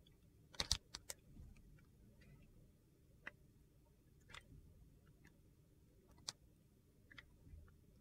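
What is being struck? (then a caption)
Glycerin soap bar cut with a metal blade. A metal utility knife blade slices thin sheets off a solid, translucent glycerin soap bar with purple pieces, held in the hand. About seven short, crisp, bright clicks and scrapes are heard, some clustered together and some spread out, each dying away almost at once over a faint low hum.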